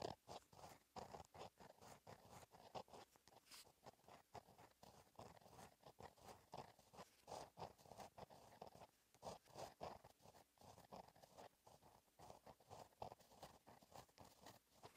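A gel pen held in the fingertips scratches cursive letters onto a flat black lined paper notebook page. Quiet, dense scratching strokes come in quick bursts with short pauses throughout, mostly in the midrange with faint bright edges.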